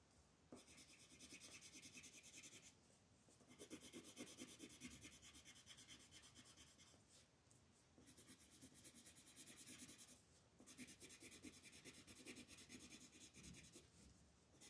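A yellow wooden colored pencil rubs and shades across a flat white paper mandala sheet held by fingertips. Steady, bright scratchy rasping comes in long bursts of rapid back-and-forth strokes, broken by short quiet pauses between the shading passes.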